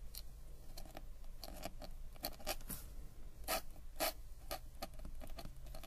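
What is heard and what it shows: A metal-nib ink pen scratches and glides across a flat paper sketchbook page while writing lines of text. Short, bright, scratchy strokes follow one another over a steady low hum, with a few louder strokes midway through.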